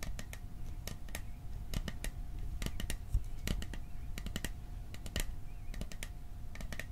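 Fingertips and nails tap quickly on the sides of a hollow, cylindrical printed metal popcorn tin with a "Silent Night" design, held in both hands. The result is a rapid, uneven run of short, bright clicks that stop almost at once, over a low hollow rumble and a faint steady tone.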